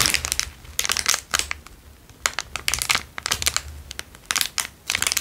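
A small, square, crumpled clear plastic wrapper, empty, is crinkled between fingertips. It makes bright, crackling crinkles in irregular bursts with short quiet pauses between them. The sound is sharp and dry, with almost no low end.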